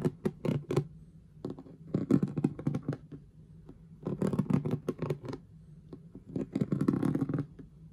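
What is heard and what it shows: Long manicured fingernails tap and scratch across the rhinestone letter and star stickers on the front of a hollow, partly filled clear plastic storage box with an orange lid, worn with a knitted glove and a ring. Quick clusters of dry clicks and rasping scrapes come in bursts separated by brief pauses. Each tap has a low, hollow body that dies away almost at once.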